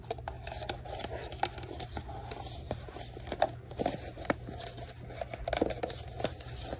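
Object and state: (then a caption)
Cardboard mailbox box. Long nails tap and scratch the printed surface of a small, hollow pink cardboard Valentine mailbox kit held in both hands. The result is a quick series of sharp, dry clicks with a hollow midrange tone, mixed with soft scratchy rustling. A steady low hum runs underneath.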